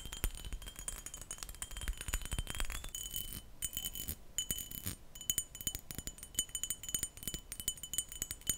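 A textured glass perfume bottle is tapped and scratched, giving a rapid run of short, bright clicks and light rattling over a low rustle. Thin glassy tones ring faintly near 3 kHz and higher, but each tap dies away almost at once.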